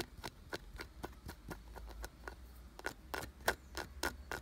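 Fingertips and nails rapidly tap and scratch a solid, glossy brown carved wooden piece with ridged grooves. About sixteen short, dry clicks come at an uneven, fast pace, each with a bright woody crack centered around 1.5 kHz that dies away almost instantly. A steady low rumble sits underneath.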